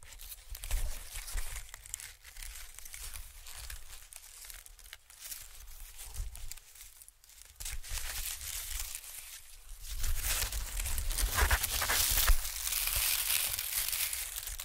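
White expanded honeycomb packing paper is stretched wide, then bunched and crinkled in the fingers, giving a dense, bright crackling rustle over a soft low rumble. The crinkling grows louder and fuller in the last few seconds as the paper is crushed together.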